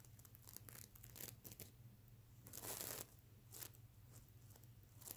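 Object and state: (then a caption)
Plastic sequin pillow being scratched. Fingernails scratch across a soft stuffed plush pillow covered in reversible plastic sequins, flipping the sequins over to show their silver side. Bursts of bright, crinkly rasping rise and fall over a steady low hum, peaking in a longer, louder sweep a little past the middle.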